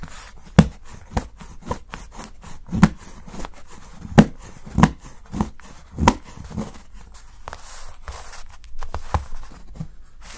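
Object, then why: Milk chocolate bar cut with a steel knife. A solid milk chocolate bar is held by the fingertips while a steel kitchen knife scrapes and shaves thin curls from its edge. A series of short, dull, low-pitched knife strikes lands at irregular intervals, each dying away almost instantly, with faint scraping and crumbly rustling between them.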